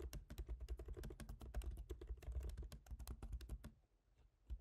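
Both hands type rapidly with their fingertips on a MacBook Pro keyboard, black plastic keycaps set in a silver aluminum body. The result is a quick stream of short, dry clicking taps with a soft low thud under each and a bright tick on top. The typing stops just before four seconds, leaving near quiet, and ends on one last tap.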